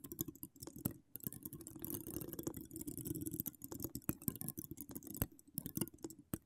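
Long acrylic nails scratch and tap the hollow steel mesh grille of an uncovered microphone from both sides. A dense, low-heavy scratching rustle swells through the middle of the clip, broken by many sharp, dry clicks and taps with almost no ring.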